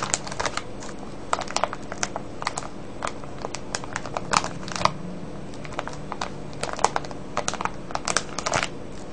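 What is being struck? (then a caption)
Cellophane bag of wrapped candies. Fingertips and nails crinkle and scratch a full, clear plastic cellophane bag of wrapped candies. The result is a steady run of short, sharp, bright crackles and rustles over a low, constant background hum.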